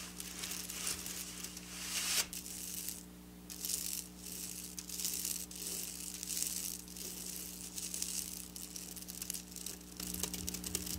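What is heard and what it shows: Long black nails scratch and tap quickly over silver sequin fabric, making a dense, bright, crackling rattle in uneven bursts. The sound briefly quiets near the three-second mark before resuming, and a steady low hum runs underneath throughout.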